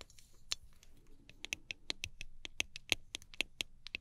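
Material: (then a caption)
Aluminium. A small gold aluminum cylindrical travel spray bottle with a clear plastic cap, held in both hands, is tapped and scratched with long acrylic nails. Quick, irregular, bright metallic clicks with a tone around 2.6 kHz die away almost instantly, with soft scratching between them. The result is a dry, crisp patter of taps.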